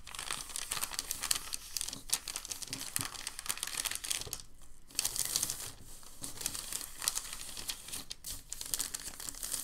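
A hand grips and crumples a sheet of white packing paper, then unfolds and smooths it out. The result is dense, bright crinkling and crackling with a brief quieter pause midway before the rustling resumes.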